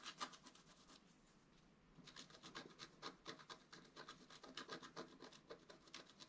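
A wooden stylus scratches lines into the black coating of a flat A4-size scratch art card with colored foil underneath, lying on a table and held flat with one hand. Quick, bright, dry scratching strokes come in an uneven rhythm, with a brief quieter lull of soft rubbing before the strokes resume.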